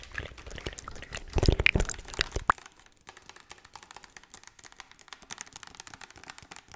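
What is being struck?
Plastic bottle filled with cooking oil.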